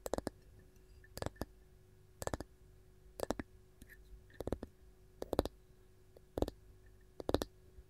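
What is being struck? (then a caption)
Varnished wooden canister lid tapped with long nails. Long gold nails tap and scratch a round, varnished wooden lid with a ball knob that sits on top of a canister. Quick clusters of sharp, dry clicks and brief scratches recur roughly once a second over a quiet background hum. Each tap dies away almost instantly.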